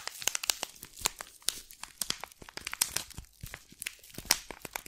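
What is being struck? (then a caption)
Small box in thin cellophane wrap. Long black and red nails scratch and crinkle the thin cellophane wrapping on a small green tea box held close to the microphone. A rapid, uneven string of sharp, bright crackles and crinkles fills the clip with almost no low end, each snap dying away instantly.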